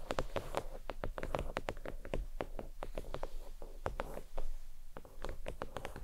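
Fingernails tap across the surface of a thin, flat, red stitched faux leather oval desk mat resting on a towel. Quick, soft, dry taps follow one another steadily, each a short muted thud with a brief bright click that dies away almost at once.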